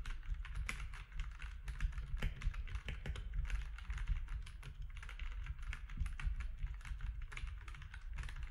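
Fingertips of both hands type steadily on a compact mechanical keyboard with grey, white and orange plastic keycaps. The result is a dense, continuous stream of quick, sharp key clicks over a heavy low thump, each click dying away almost instantly.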